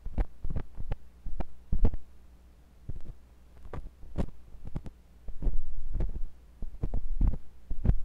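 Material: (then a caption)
Silicone. A thin metal pointed sculpting tool with a wooden handle, held by fingers with long pink nails, scratches and pokes inside the ear canal of a white silicone ear on a block-shaped binaural microphone. Dense, close, low thumping and rubbing scrapes come in bursts over a steady low hum.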